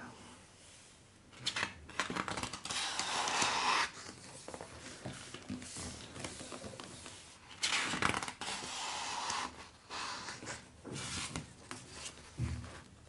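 Fingertips and a palm rub across the paper pages of a large, open illustrated hardcover book lying flat, then lift and turn a page. Soft, bright papery rustles and swishes rise in several longer bursts, with quieter brushing in between.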